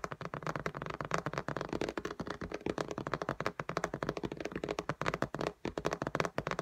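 Long nails on both hands rapidly tap the glass screen of an iPad lying flat in a pink case. About forty dry, short clicks land in quick, uneven bursts, each dying away almost instantly, with a mid-range tone and little high-end brightness.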